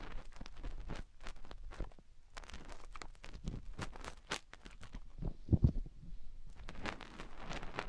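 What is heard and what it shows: Fingertips rub and dig at a soft, solid rubbery silicone ear mounted on a round white and silver binaural microphone housing, while a hand cups the ear. The sound is close, muffled and bass-heavy: a steady run of short scratchy, crackling strokes and rustles, with a couple of louder dull thumps just past the midpoint.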